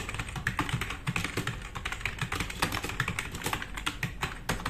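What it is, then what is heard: Plastic mechanical keyboard. Fingertips of both hands type fast on a black RGB-backlit tenkeyless plastic mechanical keyboard with plastic keycaps resting on a wooden desk. A steady run of quick, overlapping clicky keystrokes combines a low thock with bright plastic clacks that die away almost instantly.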